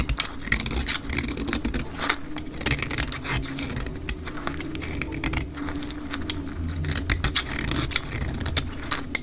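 A utility knife blade shaves flakes off a solid, hand-sized bar of dry cream soap held in one hand with long pink nails, sped up to twice normal speed. Rapid, crisp scraping and cutting strokes crackle brightly in quick succession over a low, steady hum.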